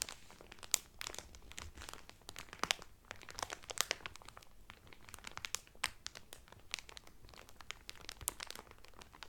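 A flat folded cotton towel in a clear cellophane wrapper is rubbed and crinkled by the fingertips and nails of both hands. The result is a dense run of sharp, bright crackles and crinkles over a quiet background.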